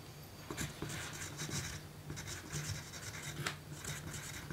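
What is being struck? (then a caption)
Pencil on thin paper card. A pencil writes on a small, thin pink paper note card resting on a table. Its graphite tip scratches steadily across the paper in short bursts of bright, dry rasping, over a faint low hum.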